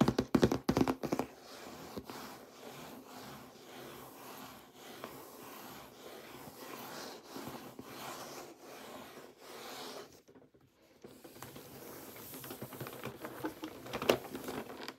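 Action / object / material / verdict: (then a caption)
tap / printed cardboard box / cardboard / none. Fingertips with short painted nails rub and tap a large, hollow, printed cardboard box for a toy salad set while it is held and turned in the hands, showing its back and side. Soft, dry scratching and light tapping continue throughout, with a burst of sharper taps at the start, a brief near-silent gap around ten seconds, and a louder tap near the end.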